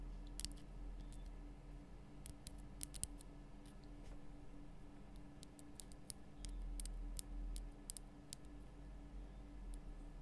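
Long nails tap the sides of the base of a large, lit pink Himalayan rock-salt lamp, a solid rough crystal block cupped in both hands. The taps come as irregular, dry, sharp clicks that stop instantly with no ring, over a steady low hum.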